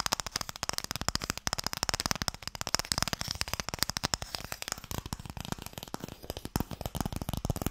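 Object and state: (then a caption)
Wooden Mikado box. A small, closed, pale wooden Mikado box, hollow and made to hold sticks, is held in the hands and tapped rapidly with fingertips and nails. The result is a steady stream of short, dry clicks and knocks with almost no ring, mixing a low hollow body with a bright, high edge.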